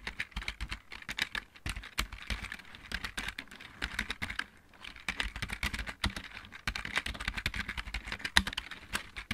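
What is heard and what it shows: Both hands type with their fingertips on a full-size backlit plastic mechanical keyboard. A steady run of quick, bright clicky taps with short low thumps is heard, with a brief pause near the middle. Each key sound dies away almost instantly.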